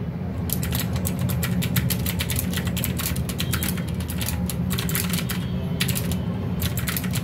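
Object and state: Plastic mechanical keyboard typing.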